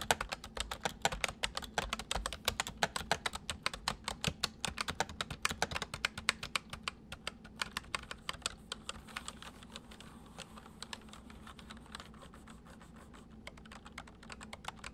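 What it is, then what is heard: Plastic mechanical computer keyboard. Fingertips type on the letter and numpad keys of a white, full-size plastic mechanical computer keyboard, producing a rapid stream of sharp, bright clicks. The keystrokes are quick and dense for the first nine seconds, then grow softer and sparser before picking up slightly at the end.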